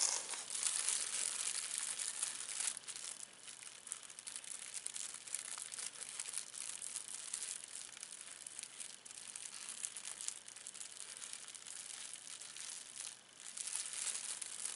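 A thin, clear plastic film wrapper from a puzzle is crumpled and crinkled between both hands, held over the puzzle. The crisp crackling is continuous and almost entirely high and bright, with little low end. It swells and dips without distinct separate hits.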